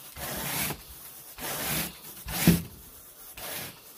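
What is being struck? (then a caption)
Pile carpet raked with a plastic-headed carpet rake. A carpet groomer rake with a long wooden handle and a teal plastic head is dragged across wall-to-wall grey pile carpet on a bedroom floor. Four separate raking strokes each give a dry, scratchy rubbing sound with bright hiss and a low rumble, and short quiet gaps fall between them.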